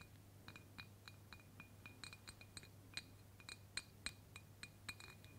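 A clear embossed glass mason jar, mostly filled with pink confetti and held in one hand, is tapped on its side with long pointed black fake claw nails worn on the fingertips. About twenty quick, irregularly spaced taps give short, bright glassy clinks with a high ring that fades almost instantly. A steady low hum runs underneath.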